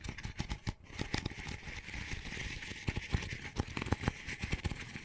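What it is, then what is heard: Empty paper coffee cup. Fingernails scratch and tap the outer wall and rim of an empty, small, hollow double-wall paper coffee cup with a textured sleeve. Dense, crackly scratching, with a steady band near 2 kHz, is broken by a quick series of sharp, dry taps with a soft low thump and almost no ring.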